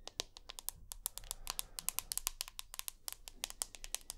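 Long natural nails tap and scratch, close up, on the glass back and aluminium frame of a hand-sized, solid rose gold iPhone. Around thirty quick, sharp, bright clicks come in an uneven rhythm, each dying away almost at once. Faint scratching fills the gaps between them.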